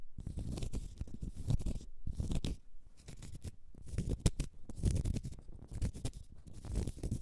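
Long nails scratch the side and end face of a large solid cork stopper held in the hand. The result is a dense, crunchy scraping made of many quick, dry strokes, heavy in low rumble, with brief pauses near the two- and three-second marks.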